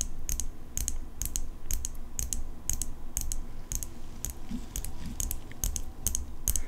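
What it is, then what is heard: Steel folding pocket knife. Long acrylic nails tap the flat steel blade of an open folding pocket knife with a metal handle. The result is a steady run of quick, bright clicking taps that stop almost instantly, over a low background hum.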